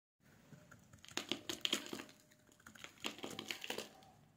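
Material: Soap.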